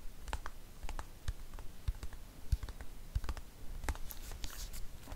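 A dark green plastic cosmetic squeeze tube is tapped rapidly with long nails close to the microphone. The taps come as a quick, irregular run of dry clicks, each with a soft low thump and a faint bright tick that stops almost at once, over a quiet hiss.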